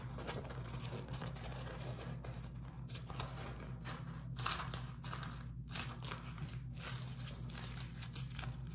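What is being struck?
Beeswax-coated cotton food wrap.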